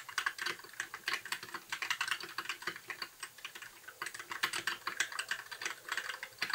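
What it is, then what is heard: Plastic mechanical keyboard. A compact white mechanical keyboard with plastic keycaps, blue backlight and a hollow case is typed on with the fingertips of both hands in continuous key tapping. Each keystroke is a short, bright plastic clack centered in the upper mids that dies away almost at once. The clacks run in a quick, uneven stream with a brief lull just before the four-second mark.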